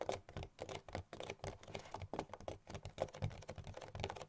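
Fast tapping with long nails on the front of a hollow, printed cardboard gift box gives a quick run of short, dry clicks with hollow low thumps underneath. Each tap dies away almost at once, forming a dense, uneven patter.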